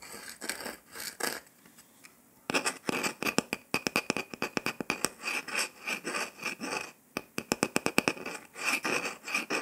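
Fingertips and nails rub and scratch the surface of a round, flat, golden dalgona honeycomb sugar candy disc with a pressed circle shape, solid and brittle, resting on a table. Quick, dry, bright scratching strokes start softly and sparsely, then become a dense, steady run of crisp scrapes after a short quiet gap, with a brief pause near the end.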